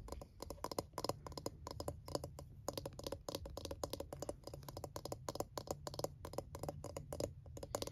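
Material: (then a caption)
Plastic. Fingernails and fingertips tap quickly and steadily across the silicone bristles and blue plastic rim of a palm-sized scalp massager. The result is a dense stream of short, dry, clicky taps that fade almost instantly, with a midrange tone and a soft low rumble underneath.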